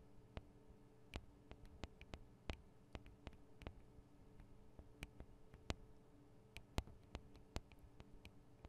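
Long acrylic nails tap the metal and plastic microphone capsules on a black Tascam DR-40 recorder. About 23 quiet, sharp, bright clicks come at an irregular pace, each dying away almost instantly, over a low steady hum.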